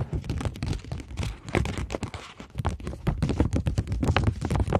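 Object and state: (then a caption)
Polymer banknote tapped and scratched with nails. Long nails tap and scratch the back of a polymer plastic £20 banknote held flat. The result is a rapid, continuous run of soft, dull, low-heavy taps mixed with brief scratchy rasps, with little brightness and almost no ring after each tap.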